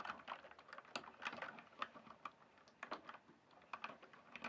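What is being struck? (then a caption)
Plastic mechanical keyboard. Fingertips type and tap on the keys of a full-size RGB backlit plastic mechanical keyboard with a hollow case. A quiet, steady stream of short, sharp clacks, bright in tone with almost no low end, dies away almost instantly after each key press.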